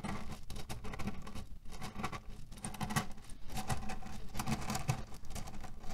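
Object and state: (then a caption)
Cotton pillow filled with cherry pits. Short nails and fingertips scratch quickly across a small cotton pillow filled with cherry pits, rattling the pits inside. The result is a dense, continuous patter of soft, dull clicks and rustles, weighted low with very little brightness.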